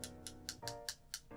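A glass lens and a CR-39 plastic lens are tapped together six times, each tap a short, bright click that dies away almost at once. The taps sound deeper than glass tapped on glass. A faint, steady tonal hum runs underneath.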